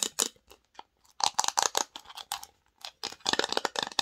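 Long nails scratch and tap across the lid, the sides and the inside of a small, open, varnished wooden box. The result is quick, dry bursts of bright scraping and clicking with no low end, a woody knock near 860 Hz, and almost no ring after each stroke.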